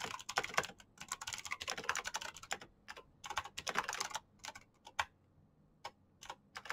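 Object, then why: Plastic mechanical keyboard. Both hands type with their fingertips on a black plastic mechanical keyboard with clicky switches, producing repeated key taps. The sharp, bright clicks come in fast, dense bursts separated by short pauses, with each tap dying away almost instantly and very little low end.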